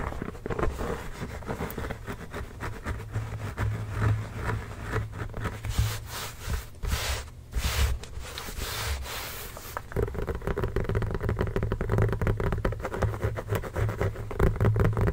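Both hands tap and scratch with fingertips and short nails on a full-size, inflated, hollow Spalding NBA basketball with a pebbled composite leather surface, sometimes lying flat to rub it, while the ball rests on a blanket. Rapid, dense taps give low, hollow thumps, mixed with dry scratching and rubbing across the pebbled grain. The short, dull knocks die away almost at once.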